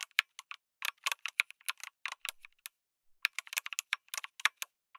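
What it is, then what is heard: Mechanical keyboard with plastic keycaps. Fingertips type on a backlit mechanical keyboard with a white case and red and grey plastic keycaps. About two dozen sharp, bright plastic clacks come in quick irregular bursts, with a brief pause midway. Each keystroke is dry and stops instantly, with no low thump.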